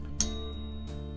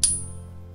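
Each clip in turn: First: genuine silver coin. Second: fake silver proof coin.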